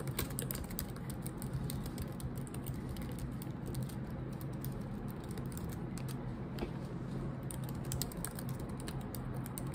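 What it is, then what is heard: Laptop keyboard with plastic keys. Long acrylic nails and fingertips type rapidly on the low-profile black plastic keycaps of a silver laptop keyboard set in a solid laptop body. The result is a steady, dense stream of quick, short clicks and taps with bright clicky edges over a constant low hum.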